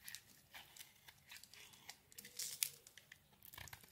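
A solid green soap bar held in the hand has its edges scraped and shaved by a utility knife blade. The result is a quiet series of short, bright, crisp scraping and crumbling bursts with almost no low end, each ending almost instantly.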